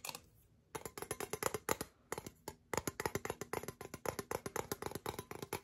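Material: Metal.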